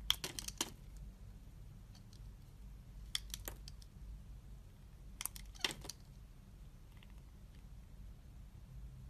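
A utility knife blade scores and scrapes a solid translucent green glycerin soap bar held in a hand with red nails. Short, crisp, bright cutting clicks arrive in three brief bursts over a steady low hum. Each stroke stops dead with no ring.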